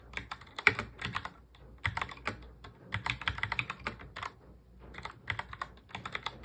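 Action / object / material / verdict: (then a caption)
tap / plastic mechanical keyboard / plastic / none. A full-size black plastic mechanical keyboard is touch-typed fast with the fingertips of both hands. Bright, crisp clicks and clacks come in quick bursts, each dying away almost at once, with short pauses between runs of typing.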